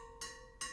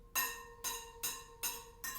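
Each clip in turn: First: properly tensioned wheel spoke. Second: loose wheel spoke.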